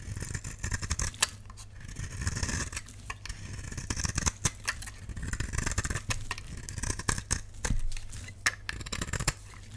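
A utility knife blade shaves curls off a solid, palm-sized oval purple bar of dry soap. The result is a steady run of dry, crisp scraping strokes with short, bright clicks and crackles over a low background rumble.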